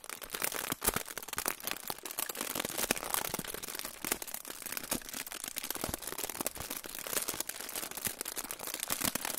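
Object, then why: Aluminium foil pouch. A silver aluminium foil pouch is held in both hands in front of a microphone and crinkled and rubbed with the fingertips. Dense, bright crackling and crinkling runs continuously for about nine seconds, made of many sharp little snaps with almost no low end.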